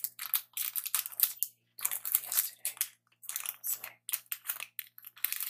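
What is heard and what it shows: A Twix candy bar in its metallic plastic wrapper is held in both hands while fingers crinkle and rub the wrapper. The result is quiet, bright, crackly crinkling in quick bursts separated by brief pauses, with a faint low hum underneath.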